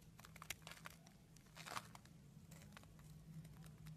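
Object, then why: Bar of soap scraped with a metal blade. A solid purple soap bar held in the hand is scraped with a green-handled metal blade, peeling off curls and flakes. Quick, dry crinkling and crackling scrapes flick across bright high tones over a steady low hum, with a louder rasping stroke near the middle.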